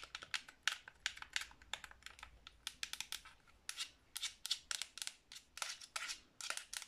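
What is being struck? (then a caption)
Hard plastic game controller. Long blue nails tap quickly across the face and colored buttons of a black Xbox 360 controller made of hollow hard plastic. About 29 quiet, dry clicks come in a fast, uneven run, bright and crisp, centered around 1.5 kHz with almost no low end. Each click dies away almost instantly.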